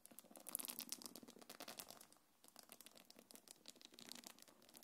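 Long nails scratch and tap the top of a small black quilted faux-leather belt bag and its gold metal chains. The result is a dense run of quiet, bright scratching and crisp clicks. A short pause near the middle breaks up the scratching, and the sound is mostly high with very little low end.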